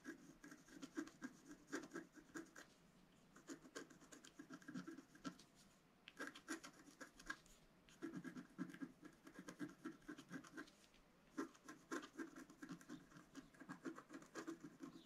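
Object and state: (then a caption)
Scratch art card being scratched. A wooden stylus scratches dense lines into the flower centre of a flat, solid scratch art card, about A4, with a black coating over coloured foil paper, lying on a table. Quiet, dry, rasping scratch strokes come in rapid bursts separated by brief pauses, with a mid-pitched body and a bright, papery edge that stops short with no ring.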